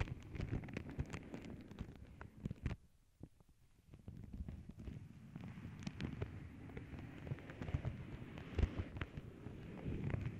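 Long nails tap and scratch a flat tissue paper sheet printed with paw prints, making dense, quiet, crinkly crackles and soft taps heavy in low rumble. The activity briefly dies down to near silence partway through, then resumes as continuous scratchy rustling with occasional sharper taps.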